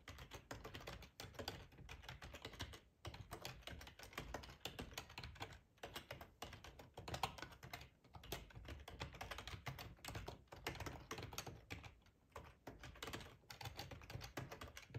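Fingertips type steadily on a black plastic ergonomic split keyboard with a hollow housing, resting on a cloth tablecloth. A dense run of quick, dry key clacks carries a hollow low thump under bright clicking, with short pauses between bursts.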